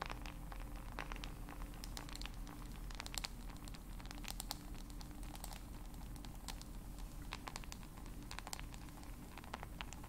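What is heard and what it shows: Long acrylic nails tap and scratch the back and sides of a solid black handheld smartphone with a glass screen and hard back. The sound is a quiet, continuous stream of quick, sharp clicks and scratchy taps with bright, brief transients over a steady low hum.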